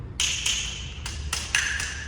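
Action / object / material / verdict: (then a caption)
tap / ceramic skirting tile / ceramic / hollow. A ceramic skirting tile, already marked as hollow, is tapped several times with sharp, bright knocks. Each tap gives a short, hollow ring around 1.7 kHz, revealing that the tile is not solidly bedded.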